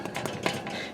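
A loaf of homemade bread, just taken out of the oven, is knocked on five times, giving short, hollow-sounding taps. The hollow sound shows the bread is done and baked through.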